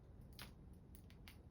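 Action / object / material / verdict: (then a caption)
shake / fishing lure with rattles inside / plastic / none. A heavily weighted pike jerk-bait lure is jerked by hand, and each tight flick kicks the two rattles set high inside its body. Short, bright clicking rattles rise over a steady low rumble.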